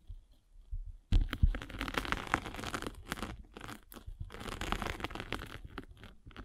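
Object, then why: Metal-spiked roller on a grit sanding sponge with foam core. A metal-spiked derma roller is rolled and pressed across a gray grit sanding sponge with a blue foam core, held flat. After a second of quiet with faint low bumps, a dense scratchy crunching and rasping begins and continues with a deep, rumbly undertone. It pauses briefly now and then before trailing off softer at the end.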